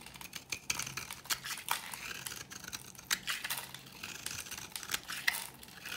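A metal blade scrapes an old, dry, oval pink bar of solid soap held in the palm, shaving it into powdery flakes. The sound is quiet, bright and dry: a steady gritty rasp broken by sharp crisp ticks, with almost no low end and no ring.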